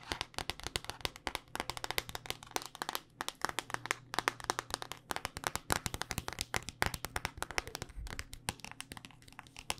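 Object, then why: Smartphone in hard plastic case. A handheld smartphone in a solid black rugged hard-plastic case is tapped rapidly with long dark-painted nails. The sound is a dense run of sharp, dry, bright clicks with almost no ring, over a faint steady low hum.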